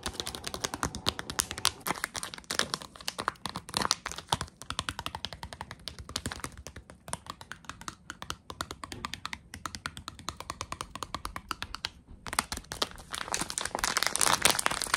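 A small, soft, filled, printed plastic/foil Tsum Tsum blind bag is tapped with long acrylic nail tips and crinkled in the hands. Rapid, sharp, dry clicks and bright crinkling patter on steadily with very short decay and little low end. A brief pause near the 12-second mark gives way to denser, brighter crinkling at the end.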